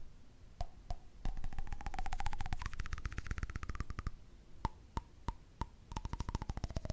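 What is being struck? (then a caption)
Candle lid. Fingers tap on a candle lid, and covering the lid with a hand changes the pitch of its ringing tone. A few separate taps lead into a rapid run in which the hollow ring slides upward from a low-mid tone, followed by spaced single taps and another quick flurry whose pitch drifts back down.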